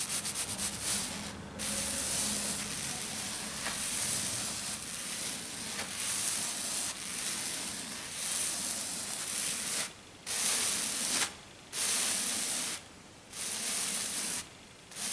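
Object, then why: Glitter-covered sheet. Fingertips with black nails rub and slide fast over a flat, gritty silver glitter-covered sheet, making a steady bright, sandy scratching hiss. Toward the end, the rubbing breaks into separate bursts with short quiet gaps between them.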